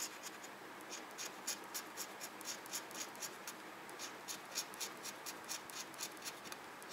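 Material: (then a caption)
Paper. A red plastic pen-like tool scratches quickly and repeatedly over the coated boxes of a small, flat paper scratch-off parking coupon on a desk. The soft, dry strokes are bright and crisp, coming about four per second in a loose rhythm over a faint hiss.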